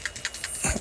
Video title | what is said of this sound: How to Fix Oil Leaks & Misfires on Your G35 – Valve Cover, Spark Plug & Coils Install | The old one is still shaking.